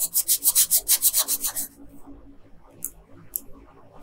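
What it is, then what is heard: Colored pencil strokes on paper. A yellow colored pencil, held in a hand with long pink nails, rubs over the hair on a flat paper coloring page in about ten quick, bright, scratchy strokes. The strokes then stop, leaving quiet with a couple of faint high ticks.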